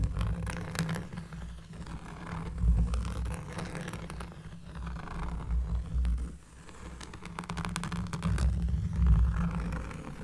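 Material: Cork.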